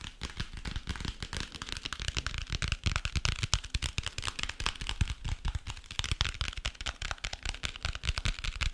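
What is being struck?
Cardboard-covered hardcover notebook.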